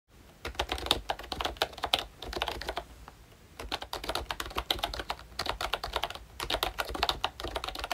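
Fingertips of both hands type on a full-size pink ROYCHE Disney Mickey Mouse retro keyboard with a plastic case, round dark green plastic keycaps and membrane switches. The result is a steady run of quick, soft, bright plastic taps with a short pause near the middle.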